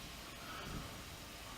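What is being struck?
Nothing is struck.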